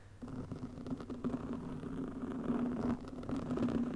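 Long nails of both hands scratch the top of a soft, porous black foam windscreen over a microphone. The result is a steady, muffled rustling scratch with a low hum near 240 Hz beneath it, and no clear high end. The sound starts faint and quickly rises to a constant level.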